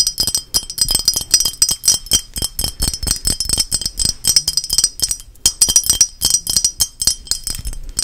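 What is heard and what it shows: A small, hand-sized painted lighthouse figurine, likely ceramic, is tapped and scratched rapidly with long nails. Dense, quick bright clinks and glassy ticks sound with almost no ring, broken by short gaps and light scraping.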